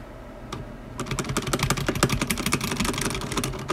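A black tenkeyless mechanical keyboard with plastic ABS keycaps, a metal top plate and stock, unlubed linear switches sits on a white desk while a single fingertip presses individual keys one by one. After about a second of near silence with one faint tap, a steady run of quick, clacky keystrokes follows, each a short, bright click over a low thud with almost no ring.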